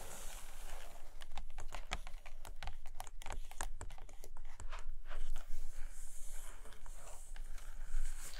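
Long nails tap and scratch on the glossy printed pages of an open hardcover photo book lying on a carpet. Quick, dry clicking taps come in fast, uneven bursts over a soft, bright scratching hiss and a low, dull thump. Each tap dies away almost instantly.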